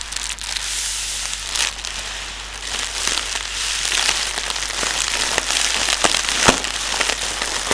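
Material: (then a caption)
Plastic film. Fingertips tap and press on clear inflated plastic air cushions, hollow air-filled pillows used as packing material. The result is a steady, bright crinkling and crackling texture with irregular sharp taps popping out of it, all high-pitched with almost no low end.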